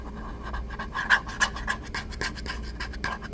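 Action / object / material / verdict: scrape / small paper cup / paper / none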